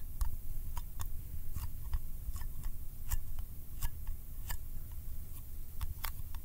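Fingertips tap and stick on the lid of a small, round, yellow metal candy tin held in hand. Quick, dry ticks and faint sticky crackles repeat at an uneven pace, with a bright edge over a steady low rumble. Each tap dies away almost at once.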